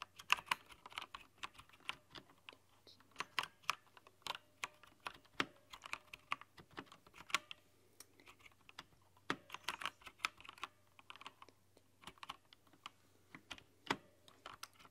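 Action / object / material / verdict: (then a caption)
tap / plastic mechanical keyboard keys / plastic / none. Long nails and fingertips tap away at a plastic mechanical keyboard with plastic keycaps and a green backlight. The result is a steady, irregular run of sharp, bright clicks and clacks that die away almost instantly, with brief pauses between bursts of typing. A faint low hum sits underneath throughout.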